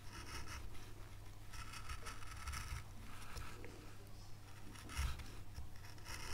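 A fine veiner tool scratches detail lines into a carved oak leaf on a small, solid, pale light-wood carving board. Quiet, bright, dry scraping strokes come in short bursts, with one louder scrape near the end, over a steady low hum.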